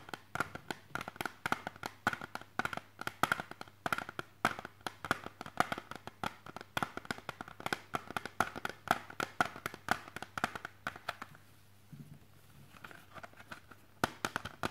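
Fingertips and nails tap rapidly on the surface of a clear hard plastic CD jewel case with a disc inside, held in one hand. Dozens of short, bright clicks with a ringing tone near 1.4 kHz follow one another continuously, easing off briefly around the twelfth second before resuming.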